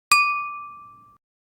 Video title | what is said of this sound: Learning to See Inside Opaque Liquid Containers using Speckle Vibrometry (ICCV 2025) | This glass has a single dominant resonance tone that shifts lower in frequency as the glass gets filled